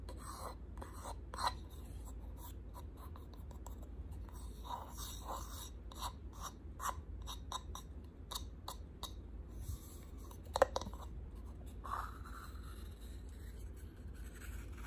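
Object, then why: Small painted wooden box. Short pink nails tap and scratch along the grooves of a small hexagonal box made of ridged, distressed white-painted wood. The result is quiet, dry clicks and raspy scratching over a steady low hum, with a few sharper taps standing out.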